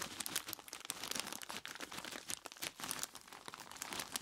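Fingertips of both hands squeeze and rub a large clear plastic bag full of ice cubes, crinkling the plastic and crunching the ice inside. The sound is a quiet, continuous stream of bright, dry crackles and crinkles with almost no low end, each snap dying away almost instantly.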